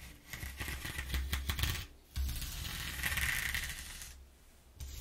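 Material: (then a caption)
Cardboard. A flat hand and fingers rub across the exposed ridges of a flat corrugated cardboard sheet resting on a wooden table. The result is a scratchy, rasping texture with quick ridged clicks over a low thumping rumble. Louder bursts of rubbing come early and again around the middle, then fade to quieter strokes.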